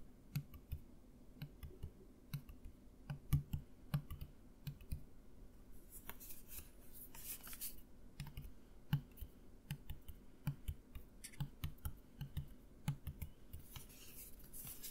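A partly full plastic mouthwash bottle, held close to the microphone, is tapped with the fingernails in an irregular run of quick, dry clicks. Each tap is short, with a soft, low, hollow knock underneath, and a faint bright hiss swells briefly in the middle and again near the end.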